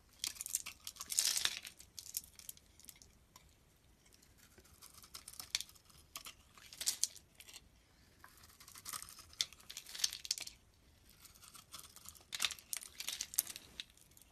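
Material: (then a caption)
Glycerin soap. A utility-knife blade scrapes across the surface of an oval, solid amber translucent glycerin soap bar held in the palm. It makes a series of dry, bright scratchy shaving passes with crisp crackling grit, separated by quieter gaps. There is almost no low end, and each scrape stops with no ring.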